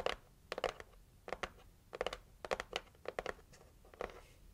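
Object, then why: Cardboard gift box. Long acrylic nails scratch and tap the lid of a pink printed cardboard heart gift box, close up. About fourteen short, dry, papery taps and scrapes come in small clusters, each crisp with a bright edge and almost no ring, over a quiet background.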